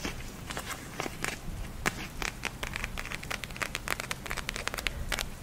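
Long nails scratch and tap the clear plastic shell of a small purple eye mask filled with gel beads, held in both hands, while the beads are squeezed. Quick, bright clicks and crinkly ticks come in a steady, irregular patter, with a light tonal edge around 2.2 kHz over a soft low rumble.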